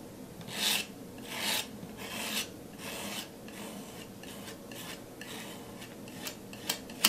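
A metal palette knife is scraped across a flat canvas board coated in thick wet teal and pink paint, spreading the teal paint. Four longer, bright, raspy scraping strokes come first, followed by softer, quicker rubbing scrapes. Two sharp ticks of the blade end the clip.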